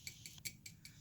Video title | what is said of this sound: How to make The Best Instant Pot Air Fryer Zucchini Crisps | you can kind of hear how crispy that is